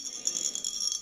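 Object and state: Empty vessel with a loose object rattling inside.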